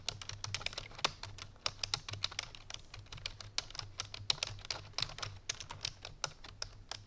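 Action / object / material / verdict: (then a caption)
tap / plastic computer keyboard / plastic / none. Fingertips with long painted nails rapidly press the keys of a full-size black plastic computer keyboard resting on a white fur rug. A steady stream of fast, bright, sharp typing taps is heard, each dying away almost instantly, over a faint low hum.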